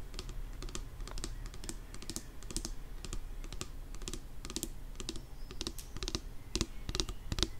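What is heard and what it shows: Long nails rapidly tap a filled plastic nail polish remover pump bottle. The result is a quick, irregular run of short, dry clicks with bright edges and almost no ring, over a steady low hum.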